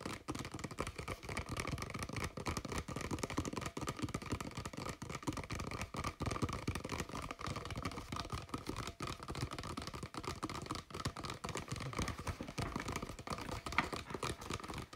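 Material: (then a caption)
Plastic. An empty-looking, hollow, clear thin plastic water bottle with a blue cap is turned in the hands while fingertips and nails tap and scratch its sides and bottom. The result is a dense, continuous stream of quick crinkly taps and scratches with short, dry decay, a low thumpy body and a steady mid-range plastic tone around 1.2 kHz.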